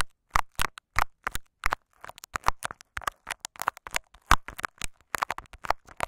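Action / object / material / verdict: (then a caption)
scrape / clear plastic tape over a microphone capsule / plastic tape / none. Fingertips and nails of both hands scratch and rub clear scotch tape wrapped over a small microphone capsule. The result is a rapid, uneven string of short, dry crackling scratches with a close, thumpy low body and bright edges, each stopping almost at once with brief silences between.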